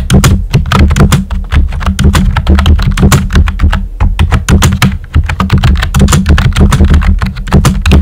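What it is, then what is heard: Plastic computer keyboard. Fingertips with short nails type steadily on a full-size pink plastic keyboard with a hollow body and round white typewriter-style plastic keycaps. A rapid, continuous stream of keystrokes gives deep, hollow thunks with crisp clicky tops, each dying away quickly.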